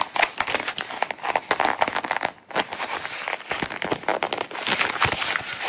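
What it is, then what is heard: Coated canvas wallet. A small, closed Coach coated-canvas zip wallet is held in the hands while long nails scratch and tap its sides and zipper edge. It makes a dense, bright run of crinkly scratching and quick dry clicks, with almost no low end and a brief pause midway.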